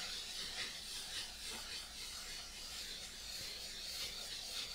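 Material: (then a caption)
Latex. Palms and fingers rub the surface of a large, hollow, inflated rose-gold metallic latex balloon held against the body. The result is a continuous bright, hissing rub at a steady, fairly quiet level, with faint strokes swelling and fading at an uneven pace.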